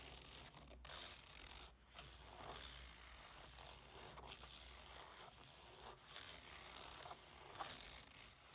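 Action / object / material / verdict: scrape / fabric clutch bag / fabric / none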